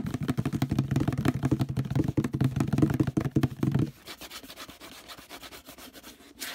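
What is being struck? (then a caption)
Plastic detergent bottle. Fingertips scratch and rub fast on the textured surface of a hollow orange plastic detergent bottle near its handle. For about four seconds, rapid, uneven scratching sounds full and boomy with a hollow body resonance. It then turns quieter and thinner, ending in a short bright rasp.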